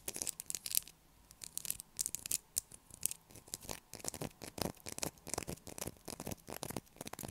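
Long black acrylic nails scratch and tap the carved surface of a light blue solid bar of soap held in the hands. A rapid series of short, dry, bright scrapes and clicks follows, each dying out instantly, with brief quiet gaps between bursts.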